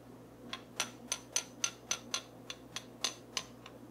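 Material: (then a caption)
Wood. A dark wooden stick or brush handle is tapped and scraped across the teeth of a small, solid light wooden comb held in one hand. It makes twelve short, bright, dry clicks at a slightly uneven pace, each dying away almost instantly over a faint low hum.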